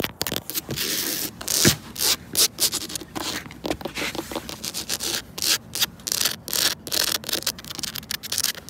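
Long pointed red and black nails and fingertips scratch and rub along the grooves of a large, solid, flat reddish-brown ribbed composite outdoor decking board. The result is a rapid series of short, bright, dry scraping bursts with almost no low end and very little ring after each stroke.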